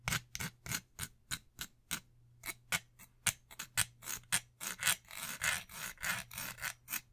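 An orange Beats Pill portable speaker, hollow plastic with a soft-touch rubberized coating, is held in both hands while long nails rub and scratch across its body. The result is a quick, uneven series of short, bright scratching strokes that grow longer and more continuous toward the end, over a faint steady low hum.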